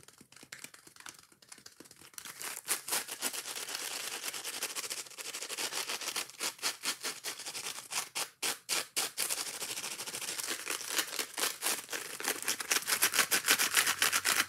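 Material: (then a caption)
Foam. Long nails scratch fast on a yellow foam kitchen sponge with a green scouring layer, held up in the hands, working over both the foam and the scouring pad. The sound is a dense, bright, rasping scratch made of rapid, loosely rhythmic strokes with little low end. It starts softly for the first two seconds, then grows louder and busier, peaking near the end.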